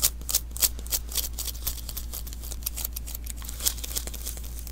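A small hollow roll of sticky lint roller refill paper is held in one hand while the fingertips of the other hand tap and pat its adhesive surface. Each touch lifts off with a quick, bright, crackly tacky peel in an irregular, rapid stream. A steady low hum runs underneath.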